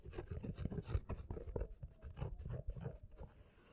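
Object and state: Paperback book, page edges scratched and cover tapped.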